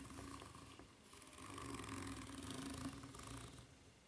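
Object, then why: Ridged rubber flip-flop sole. Long nails scratch across the serrated surface of a white, ridged rubber flip-flop sole held bottom-up. The result is a quiet, continuous raspy scratching that swells through the middle of the clip and fades toward the end, with a faint low tonal hum underneath.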